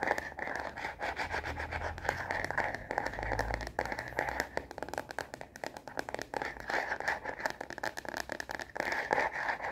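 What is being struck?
Plastic phone case on a smartphone.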